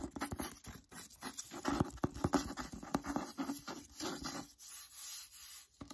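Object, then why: Hardcover book with paper dust jacket. Fingertips and nails tap and scratch the back cover of the solid hardcover book "The Secret Letters," which has a glossy paper dust jacket. The result is a quiet run of quick, dry taps that die away almost at once, mixed with papery scratching and rubbing. Toward the end it settles into softer, steady rubbing.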